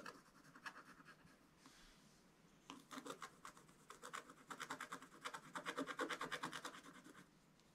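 A wooden stylus scratches the black coating off a scratch-art page in a spiral book resting on a table, working around a dragon's wing. Quick, dry, rasping strokes come in uneven bursts of about three per second, bright and papery with almost no low end, with a quieter pause before the scratching picks up again.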